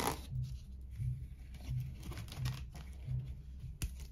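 Fingernails scratch the rough fibres on the inside and base of an empty, hollow, coiled woven seagrass rope bowl. The result is a soft, dry, crinkly rasp, mostly low and muffled, with short scratching strokes repeating at a loose, uneven pace.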